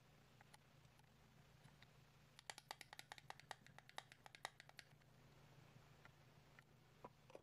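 Fingertips and short nails tap and click on the shell and base of a small, hollow, red and green hard-plastic apple-shaped Hello Kitty playhouse with a small figure inside, held in both hands. A few scattered taps give way to a quick, uneven burst of sharp, bright clicks in the middle, then a few more taps near the end. The clicks are dry and short with no ring, over a steady low hum.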